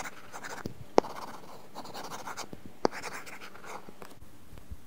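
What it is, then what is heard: Stylus scratching a matte-film tablet screen. A stylus tip scratches across an iPad's glass screen fitted with a matte, paper-feel plastic film in short coloring strokes. The result is a soft, steady, papery scratching, punctuated by two sharp, brief taps.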